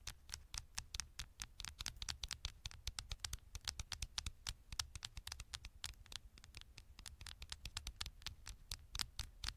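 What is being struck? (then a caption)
Smartphone metal back panel. Long nails rapidly scratch and tap the gold metal back panel of a small, thin smartphone. A steady stream of short, sharp, bright clicks and scrapes, each dying away almost instantly, plays over a faint low rumble.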